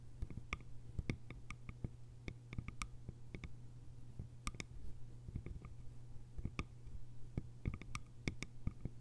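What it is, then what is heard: Bamboo lidded canister. Long nails tap quickly and lightly on the sides and lid top of a small round hollow bamboo jar with a lid, and fingertip taps on the lid come in toward the end. The taps are short, dry clicks with almost no ring, sitting over a steady low hum.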